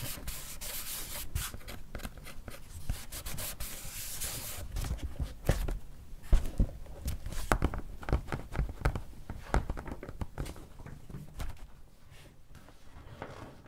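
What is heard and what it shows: Long painted nails and fingertips rub, scratch and press a paper sticker onto a thin printed page of an open paperback children's sticker book lying flat on a wooden table. The result is a steady, soft, low scratchy rubbing with a dense scatter of short taps and swipes that peak in the middle, then trail off.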